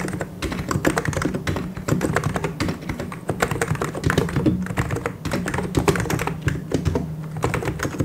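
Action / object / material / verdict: tap / plastic mechanical keyboard / plastic / none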